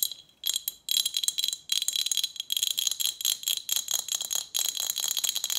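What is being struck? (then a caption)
Glass bottle with metal lid. Long nails tap rapidly on a partly full Snapple glass bottle with a metal lid, held tilted in the hand. The taps are bright, high, clicky and very short, with almost no low end, and come in fast bursts with brief gaps between them.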